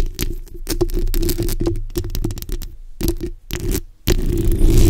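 The backs of long nails scratch across a black, hollow steel mesh microphone grille, producing rapid, gritty scraping bursts. The sound is heavy and muffled, weighted toward low rumbling tones. After a brief drop toward silence, the scratching returns louder and more continuous to the end.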